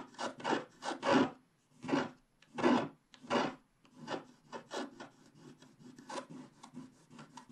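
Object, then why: Wax-coated scratch-art card scraped with a wooden stylus. A wooden stylus scrapes the black wax coating of a flat scratch-art card, revealing the blue sky of the colored base underneath. Dry, raspy scratching strokes come in bursts, loud and long at first, then quicker and softer toward the end.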